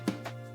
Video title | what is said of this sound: ulanzi lt028 first impressions | this one here sounds like plastic